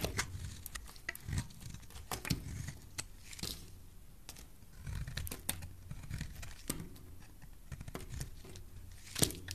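A utility knife blade slices into a solid rectangular white soap bar, making a quiet series of short, crisp scraping and crackling cuts. Sharp bright clicks stand out over a soft low rumble, and each cut dies away almost at once.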